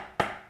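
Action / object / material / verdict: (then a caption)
tap / wooden dovetail tailboard and pin board / wood / tight. A wooden dovetail tailboard is tapped onto its pin board during a dry fit, giving a single short, dry knock with a midrange woody tone that dies away quickly. The joint is too tight and the board is not going in, with the tail corners starting to break; bruising where the pieces rub confirms the tight spots, which are then pared with a chisel.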